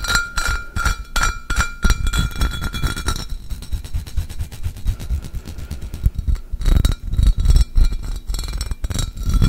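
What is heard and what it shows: A medium, empty, clear pressed-glass pitcher with an embossed pattern is held in one hand and tapped rapidly with the fingertips and nails of the other. The result is a quick run of short, dry clinks and taps with a faint high glassy ring, over a heavy low-end thump from the hollow body.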